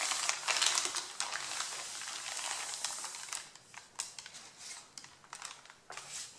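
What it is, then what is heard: Paper sheets being crumpled. Hands crush and rub the top sheet of a stack of thin, white printed paper, creasing it. A dense, bright crinkling and rustling fills the first few seconds, then breaks into sparser, sharper crackles and soft rubs. There is almost no low end.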